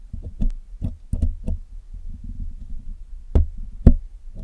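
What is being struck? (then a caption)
Metal mesh microphone grille scraped with a steel pick. A steel hook pick is dragged and picked through the black hollow metal mesh grille of a Blue Yeti microphone while cleaning it. Deep, dull knocks and thumps land irregularly over a low, rumbling scratch as the pick works through the mesh, with two heavier knocks near the end.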